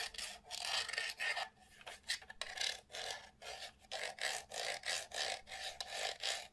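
A small, hollow, light-grey plastic SNES Mini console is held in both hands and turned over while fingertips and nails rub and scratch its ridged vent grille and casing. The result is a series of dry, bright rasping scrapes in short bursts with brief pauses between them and no low-end body.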